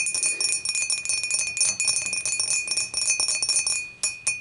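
Long matte nails tap quickly on the sides of a clear, dimpled glass beer mug that stands empty and upright. The result is a fast, steady run of bright, clinking taps with very short ring and a thin high glassy tone throughout, with a brief pause near the end before a few final taps.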